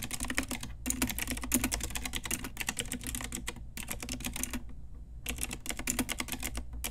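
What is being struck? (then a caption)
Plastic mechanical keyboard. Long nails and fingertips type rapidly on a full-size pink Ajazz typewriter-style retro mechanical keyboard with round plastic keycaps on a hollow plastic case. Dense bursts of clacky, bright key taps run with short pauses near 0.8 s and 3.8 s and a longer gap around 4.6–5.3 s, all over a steady low hum.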